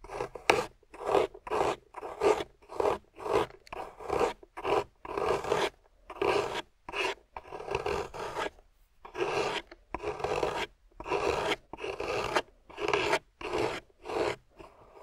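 A metal loop tool carves a solid piece of water-soaked grey clay held in the fingers, scraping shavings off in 22 separate rasping strokes. Each stroke is a short, mid-pitched scrape with a bright edge and little low end, followed by brief silence.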